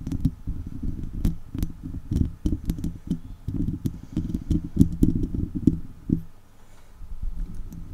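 Two long acrylic nails scratch and tap the top of a hollow woven metal mesh microphone grille, with hands held close around it. The result is a dense run of boomy, low-heavy thuds and rustling scrapes with short, sharp clicks on top, easing into a brief quiet stretch near the end before the scratching resumes.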